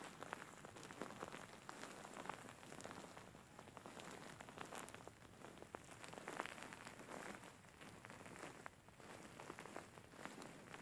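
Fingertips and nails squeeze and scratch a large, soft-filled grey faux fur pillow, producing a dense, steady crackling patter like light rain on a surface. Quick bright scratches flicker over a soft rustling bed at a low, even level throughout.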